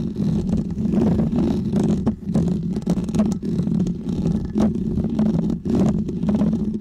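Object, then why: Foam microphone windscreen. Fingernails of both hands scratch a small, round, white, textured foam windscreen on a microphone. The result is a steady, dense, muffled scratching rumble centered in the low mids, broken only by a few brief dips as the strokes change.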